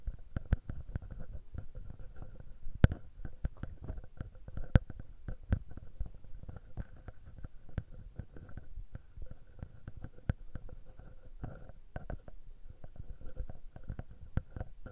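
A small metal mesh microphone capsule on a Tascam handheld recorder is pinched and rubbed between the fingertips. It produces dense, boomy low thumps and scratchy rubbing, broken by sharp, brief clicks, over a faint steady hum.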